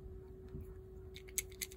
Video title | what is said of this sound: Two products have changed my way of thinking. Vitabrid C12 Review. | when you hear them clanking together that means that it's has loosened up the powder